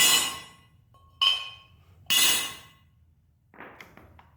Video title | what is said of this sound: BleepinJeep BeastWars FSJ Cherokee Chief gets Stronger Lug Studs | you can hear the pitch change whenever I tapped it in